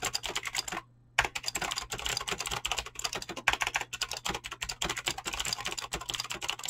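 Fingertips type fast on a Razer BlackWidow mechanical keyboard with clicky green switches and pink-blue dyed PBT plastic keycaps. A rapid, steady stream of bright, sharp clicks and clacks runs throughout, with one brief silent pause near the start before the typing resumes.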